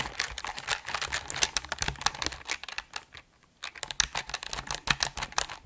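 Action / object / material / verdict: tap / mechanical keyboard, plastic keycaps on aluminum plate / plastic, aluminum / none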